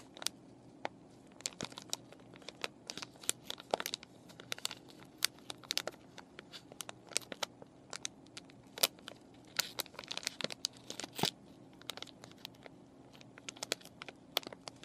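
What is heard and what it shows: Long nails crinkle and scratch a clear plastic and cardboard paintbrush package with the brushes still inside. The result is a dense run of sharp, bright crackles and ticks over a faint low hum, with almost no low end and each snap dying away at once.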